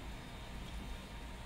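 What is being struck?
Nothing is struck.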